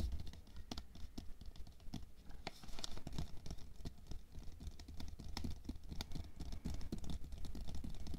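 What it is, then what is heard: Plastic container of water beads. Long nails tap and scratch quickly along the side of a tall clear plastic container full of red water beads (aqua pearls) lying on fur. The result is a steady run of short, dry clicks and scrapes over a low, muffled thump.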